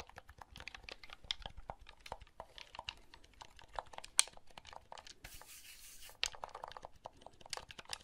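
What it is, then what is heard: Plastic handheld game console. Fingertips press the buttons and handle the shell of a small, hollow blue plastic handheld game console held in the hand. The result is a quiet stream of quick, bright plastic clicks and taps. Near the middle, a brief rustling, scraping hiss stands out.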